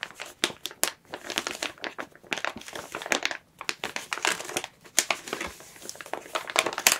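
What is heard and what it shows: A clear plastic bag packaging a plush toy is held in both hands, squeezed, crinkled and turned while long nails scratch its surface. Dense, bright crinkling crackles come in rapid bursts with short pauses throughout, with almost no low end.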